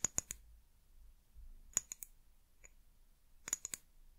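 Long nails tap the glass sides of a small amber glass bottle with a white plastic cap. Sharp, bright clicks come in three quick bursts of two to four taps, with a faint single tap between the second and third. Each tap stops dead with almost no ring, over a quiet low background hum.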